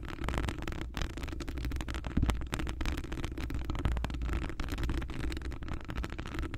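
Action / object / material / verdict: scrape / metal wire-mesh microphone grille / metal / none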